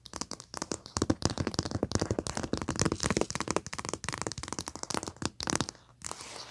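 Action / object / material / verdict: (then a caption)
tap / paper-covered foil paper pad / paper and foil / none. Long painted nails tap and scratch across the printed paper cover of a flat, thin pad of foil paper with colored foil strips, lying on carpet. The result is a rapid, dense run of crisp, dry taps and crinkly scratches with a bright edge, ending in a softer, steady rustling hiss.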